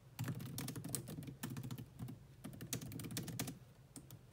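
Both hands, typing with long manicured nails and fingertips, tap the black plastic chiclet keys of a grey laptop keyboard. A dense, irregular series of quick clicking taps plays, each a soft low thud with a bright tick on top. The taps come in bursts separated by brief pauses and thin out toward the end.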